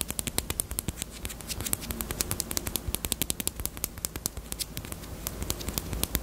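Long nails tap rapidly on the front and side of a small, closed, hollow pink hard plastic Peep bunny-shaped chapstick case. The result is a dense stream of short, dry, bright clicks with almost no ring, over a steady low background hum.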